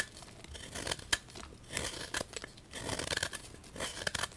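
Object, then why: Magnesium carbonate chalk block. A small knife repeatedly scrapes and cuts the surface of a solid white gym chalk block (magnesium carbonate) held in the hand over a bowl of chalk powder. The result is bursts of dry, gritty, bright scraping and crunching with short sharp clicks and very little low end.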